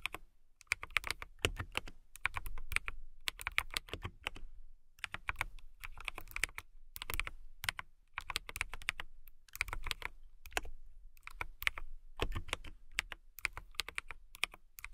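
Fingertips and long nails type on a transparent acrylic mechanical keyboard with RGB-lit clear keycaps. Quick bursts of crisp, bright clicky keystrokes with a soft low thock come in clusters separated by short pauses. Each keystroke cuts off almost at once.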